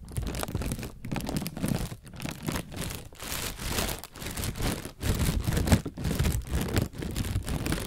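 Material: Plastic.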